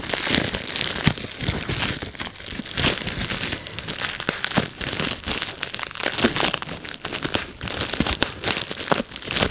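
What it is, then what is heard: Plastic bubble wrap being popped. Fingertips pinch and pop bubbles on a clear plastic bubble wrap sheet, giving a dense run of sharp, bright snaps over constant crinkling plastic. The pops come in quick, irregular bursts with almost no ring, and most of the energy sits in the high end.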